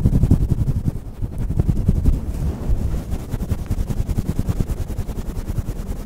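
Fingertips of both hands pinch and scratch the fluffy grey faux-fur windscreen on a stand microphone. The result is a dense, rapid, irregular rumbling scrape that is almost entirely deep bass, with a muffled, wind-like thump and no bright top end.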